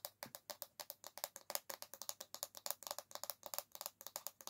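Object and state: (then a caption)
Bamboo hairbrush back scratched with nails. Long nails scratch across the solid bamboo back of an oval hairbrush, making about 32 quick, dry, separate strokes. Each stroke is a short, bright rasp with almost no ring and most of its energy above 2 kHz.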